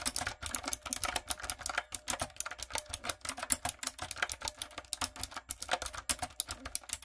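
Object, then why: Mechanical keyboard with round plastic keycaps. Rapid key taps by fingertips and long coffin nails on a typewriter-style backlit mechanical keyboard with round brown plastic keycaps on a dark frame. About 45 short, bright plastic clicks follow one another in a quick, uneven rhythm, each dying away almost instantly.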